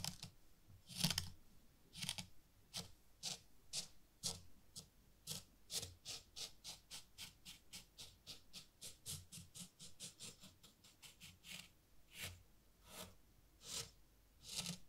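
A small metal rake is dragged by hand through fine white sand in a small bamboo/wood zen garden tray. It makes a quiet series of short, bright, scratchy strokes that start spaced out, speed up into a rapid run in the middle, then slow again, about 31 in all.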